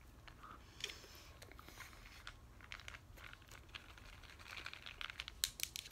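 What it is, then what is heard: Plastic pill bottle. A medium white plastic pill bottle with a blue cap and a paper label, hollow and possibly holding pills, is handled, turned and tapped with long nails in both hands. The result is quiet, bright crinkling from the label and short, crisp clicks and taps that grow more frequent toward the end.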